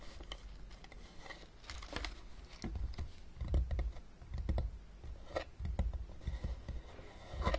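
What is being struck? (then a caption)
Small closed plastic game case. Long dark-painted nails tap and scratch the top of a closed, small, hollow blue plastic Battleship game case with game pieces inside, lying flat on a table. The result is an irregular run of soft hollow knocks with low thumps, mixed with brief bright scratching and clicking that fade quickly.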